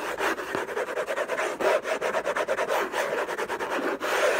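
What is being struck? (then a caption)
Paper-covered cardboard box. Fingertips and short nails scratch fast and hard across the lid of a closed, long rectangular orange Hermès cardboard gift box covered in textured paper, with unknown contents, lying on a fluffy blanket. The result is a dense run of dry, rasping scratch strokes centered in the midrange with almost no low end and no ring after each stroke.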